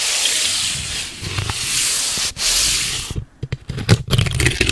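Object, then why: Corrugated cardboard strip. Long red nails scratch and rub along the surface and ridged edge of a long, flat strip of light, hollow-fluted brown corrugated cardboard. A steady, bright scratching hiss runs for about three seconds with one brief break, then turns into short, separate scrapes with dull low thumps.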